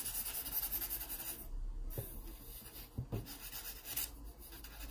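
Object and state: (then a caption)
Pencil shading on a sketchbook page. A yellow wooden graphite pencil is rubbed and scratched along the page of an open paper sketchbook lying flat, shading edges. Quiet, continuous scratchy rubbing with a bright, hissy texture and a low rumble underneath. A few slightly firmer strokes stand out in the steady scraping.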